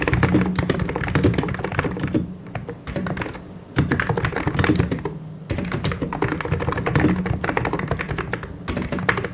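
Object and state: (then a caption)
Plastic mechanical keyboard. Both hands type fast with their fingertips on a full-size white and grey mechanical keyboard with plastic keycaps. The result is a dense, continuous stream of short, dry key clacks with a deep thocky body, thinning into brief quieter lulls around the three- and five-second marks before the rapid typing picks back up.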